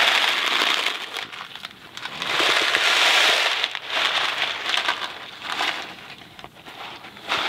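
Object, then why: Cardboard box of dry pasta. A Kraft macaroni & cheese cardboard box filled with dry pasta is held by the fingertips, tilted and shaken. The dry macaroni rattles and rustles inside in dense, bright, crackly swells that rise and fall with each tilt, with almost no low end.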